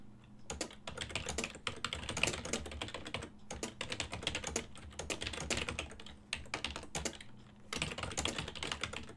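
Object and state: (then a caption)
Plastic computer keyboard, typing. Fingertips type continuously on a full-size ergonomic silver and black plastic desktop keyboard with hollow key switches, giving rapid, bright, clattering key clicks that stop quickly. The typing comes in bursts with brief pauses, over a faint, steady low hum.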